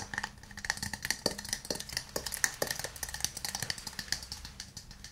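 A hand-sized, hollow, empty burl-wood cup, held in both hands, is tapped with fingernails and fingertips on its outside and base. About thirty quick, dry, bright taps carry a woody knock near 1.8 kHz. Each tap dies away almost at once, leaving a soft, uneven clicking rhythm.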